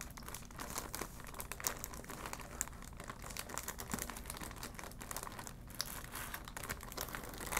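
A clear plastic retail bag holding a folded vinyl ball is crinkled and scratched with long black nails and fingertips. The result is a steady stream of dense, crisp crinkling and scratching with brief sharper crackles throughout.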